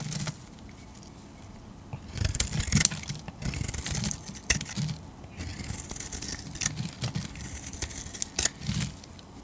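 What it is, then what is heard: Bar soap being shaved with a blade. A metal utility-knife blade carves shavings from a solid oval purple bar of soap held in the hand. Crisp, bright scraping and crackling strokes come in bursts over a low, steady rumble, with quieter gaps between cuts.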